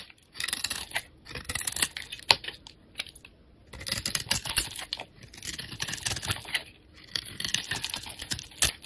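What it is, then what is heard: Glycerin soap bar being carved. A metal utility blade scrapes a solid, clear glycerin soap bar with a red edge, curling off white shavings. Runs of crisp, bright scratchy crackling come in bursts separated by short quiet pauses, with little low-end weight.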